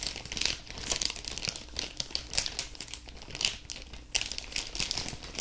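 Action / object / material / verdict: scrape / thin clear plastic bag / plastic / none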